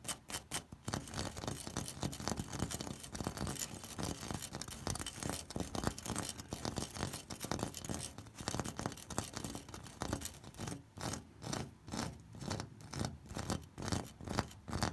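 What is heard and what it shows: Fingertips and nails scratch across the ridges of an orange ribbed terracotta corrugated clay roof tile. The result is a fast, dense rasping with a low body and bright grit. Toward the end it settles into separate rhythmic strokes that swell and fade.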